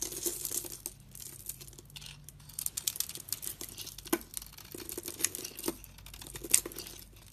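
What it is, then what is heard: Bar soap shaved and crumbled. A utility knife blade shaves curled flakes off a solid, rounded dark green bar soap with a green speckled coating, held in hand, and fingers then crumble the flakes. Bright, crisp scraping and crackly crinkling dominate, dotted with sharp little ticks and a few louder snaps over a faint low hum.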